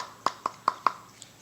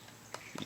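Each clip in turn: First: solid metal-backed polymer pistol frame. Second: hollow polymer pistol grip.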